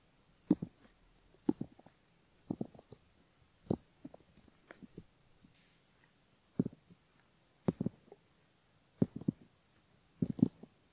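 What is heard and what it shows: A thin bamboo ear pick gently scratches the outer ear folds of a flesh-colored, soft silicone binaural ear model (left ear) on a flat base, while fingertips hold the ear. Quiet, soft scratching clicks come in short clustered bursts with brief pauses between them. The sound is dull, low-mid and close.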